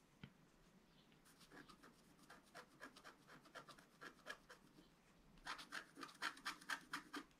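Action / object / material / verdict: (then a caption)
scrape / coated scratch-art paper scratched with a wooden stylus / coated paper / none. A wooden stylus scratches a flat coated scratch-art paper card while the left hand holds the sheet steady. After a single faint click, a run of quick, dry scratching strokes follows at a brisk, uneven rhythm, with a bright rasp centred around 1.5 kHz. The strokes are soft at first and grow louder and crisper toward the end.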